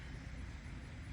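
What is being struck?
Nothing is struck.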